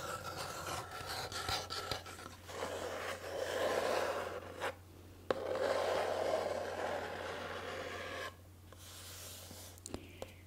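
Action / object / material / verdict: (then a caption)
scrape / small cardboard box / cardboard / none. Long painted nails scratch and rub the surface of a small, hollow, rectangular pink printed cardboard box held in one hand. The result is a dry, raspy scratching in quick, uneven strokes that swells into denser rubbing passages with brief quiet gaps between them, over a faint steady low hum.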